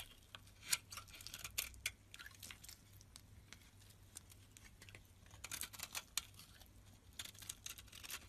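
A utility knife blade carves and scrapes flakes off a white oval bar of solid soap held in the hand. The clip is a quiet run of short, crisp, bright shaving and scraping strokes with a faint steady low hum underneath.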